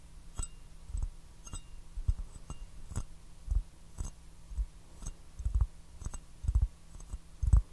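Fingertips and nails tap an empty white bone china teacup with a blue floral pattern, held upside down in both hands. The quiet, irregular taps come roughly once a second as short, dull knocks with a faint bright click on top. They die away almost instantly over a faint steady low hum.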